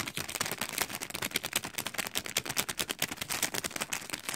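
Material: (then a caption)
Cellophane. A long decorated acrylic nail scratches and crinkles clear cellophane film wrapped over a heart-print gift. A rapid, continuous run of dry, bright crackles and snaps carries mostly high, hissy energy with very little low end. Each crackle cuts off almost instantly.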